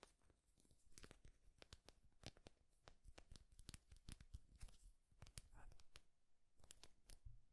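A flat, thin, solid wooden popsicle-stick clip with a small painted owl on top is held in one hand and scratched and tapped with the fingernails. Quiet, dry, rapid clicks and scratchy strokes come in an irregular stream, each with a bright edge that dies away almost at once.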